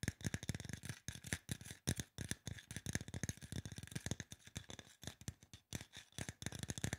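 Fingertips and nails tap quickly on a hollow silver aluminum spray bottle while it is tilted. The result is a fast, uneven stream of short, dry taps, with hollow low thumps and bright, clicky nail ticks that stop almost at once with no ring.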